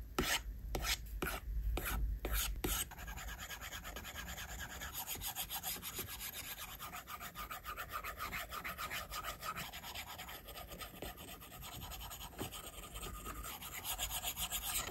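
A plastic stylus tip rubs and scratches across the flat, solid glass screen of an iPad in shading strokes. It makes a dense, steady rasping texture with brief louder strokes at the start, then continuous fast scratching that stays broadband and bright throughout.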